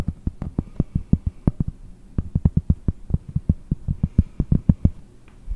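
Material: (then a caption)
Cork. A round, solid cork disc held in both hands is tapped rapidly with long blue nails, producing about thirty short, dull, low-pitched taps that die away almost instantly. The taps come in an uneven, quick rhythm with a faint low hum beneath them.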